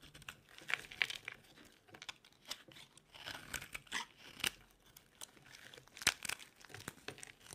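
A metal blade carves a solid, dry white bar of soap held in the hand, with yellow shavings from an earlier bar lying nearby. Quiet, irregular dry scrapes and crisp crackling snaps sound bright and papery, like tearing or crinkling, with almost no low end. Sharper cuts stand out at intervals between softer shaving sounds.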